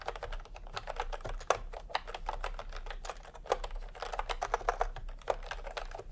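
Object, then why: Plastic computer keyboard. Fingertips type in continuous taps on a full-size plastic typewriter-style computer keyboard with round retro keycaps in peach and cream, lying on a white cloth. A steady stream of short, dry clicks centered in the mid range comes through, some keystrokes landing harder than others, over a faint low hum.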